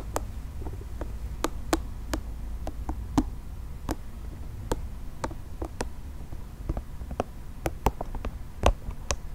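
Fingernails scratch and tap the spiky surface of a multicolored, nubby soft plastic ball held in the hands. Short, sharp, bright clicks and taps come at an uneven pace over a low, steady rumble, with soft scratching between them.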